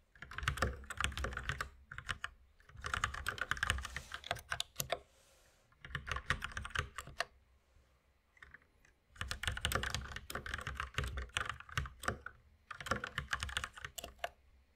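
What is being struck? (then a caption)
Mechanical keyboard with plastic keycaps. Both hands type with their fingertips on a white full-size mechanical keyboard with plastic keycaps resting on a wooden desk. Quick bursts of sharp, clicky keystrokes with a low thock and a bright clatter come in several runs of a second or more, separated by short quiet pauses.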